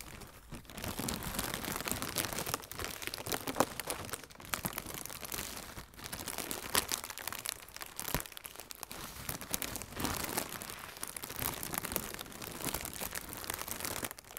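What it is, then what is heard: Plastic air cushion packing film. Inflated blue plastic air cushion packing film, hollow and air-filled, is squeezed and crinkled by both hands with long nails. It makes dense, bright crinkling and crunching with crackly snaps, broken by brief quieter pauses.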